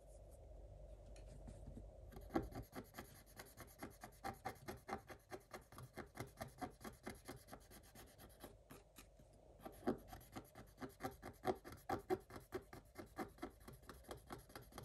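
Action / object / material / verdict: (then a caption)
scrape / coated scratch-art paper scratched with a wooden stylus / coated paper / none. A thin wooden stylus scratches the coating of a black scratch-art page in a spiral book. After about two seconds of quiet low rumble, it makes a quick, uneven series of short, dry rasping strokes. The strokes ease briefly around nine seconds, then pick up again to the end.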